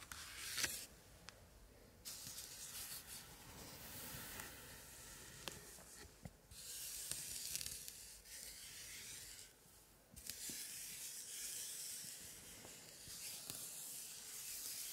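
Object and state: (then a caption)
Old paper scrapbook pages. White cotton-gloved fingertips rub and stroke across the same open spread of an antique 1880s scrapbook, its old paper pages covered with glued printed scraps. The sound is a soft, bright, dry swishing and rasping that comes in sustained strokes separated by brief quieter pauses, with a few small sharp paper ticks, and almost no low end.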